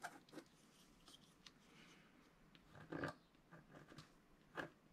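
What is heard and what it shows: A pointed wooden stylus scratches a flat coated scratch-art sheet resting on a cloth in short strokes. The clip is quiet, with irregular, dry, raspy scrapes, and a few stronger bursts spread bright noise from the mids up into the highs.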